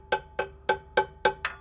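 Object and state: Truck drum brake, released (hollow ring).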